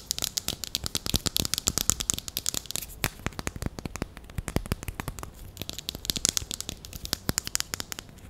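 Long nails tap and scratch along the barrel of a single small, hollow grey plastic marker pen held in the fingers. The result is a rapid, irregular stream of sharp, dry, bright clicks with no ring, with a faint scratchy rustle between them.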